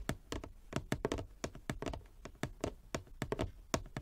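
Long nails and fingertips tap the surface of a large, flat wooden chess board with light and dark inlaid squares, lying on a table. About seventeen quick, dry taps and clicks come at an irregular pace, each dying away almost at once, with a bright click on top of a soft low thud.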